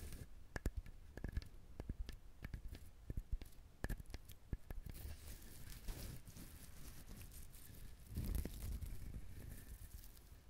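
Fingernails scratch and tap the fibrous shell of a whole brown husked coconut. The first half is a string of sharp, dry clicks with a low thump beneath; after that comes a continuous, bright scratchy rasp that swells twice as the nails drag across the husk.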